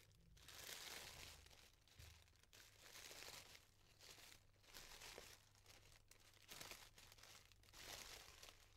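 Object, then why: Tissue paper pom-pom flower. Fingertips and nails fluff and separate the thin layers of a yellow tissue paper pom-pom flower. Soft, bright crinkling rises and falls in repeated waves over a faint low hum.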